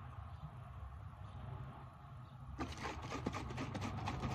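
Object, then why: Plastic bottle. A translucent plastic isopropyl alcohol bottle is held up while fingernails tap its side and base. A low, steady hum fills the first two and a half seconds. Then a run of quick, dry, bright plastic taps and clicks starts up and continues over the hum to the end.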